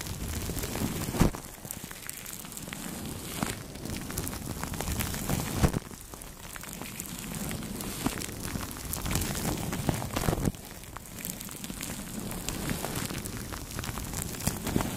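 Makeup brushes repeatedly sweep over clear plastic cling film wrapped around a microphone, producing a steady crinkly, crackling rustle with soft low rumble. Sharper crinkle bursts stand out at a few points, including near 1, 5.5 and 10.5 seconds.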